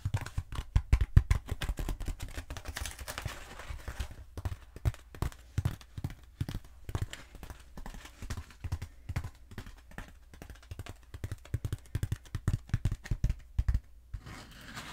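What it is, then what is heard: Foam roller. Long acrylic nails rapidly tap and scratch a long, black, textured foam roller held diagonally. The result is a dense stream of short, dry, low thuds with quick scratchy rustles, especially early on, and it stays close and muffled with almost no ring.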